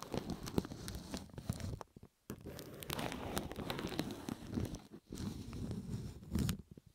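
Fingers with long nails rub and scratch pink plastic cling film stretched over the right ear of a microphone. The result is a dense, crinkly crackling and rustling with a soft low body and bright scratchy ticks. It pauses briefly twice before starting up again.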